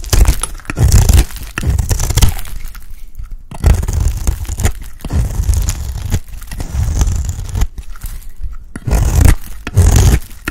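A small-bladed knife scrapes and shaves curls off the face of a round, cream-coloured, palm-sized bar of dry soap held in one hand. Repeated rough scraping strokes come in bursts separated by short pauses, with a dull, low-heavy body and a faint bright edge.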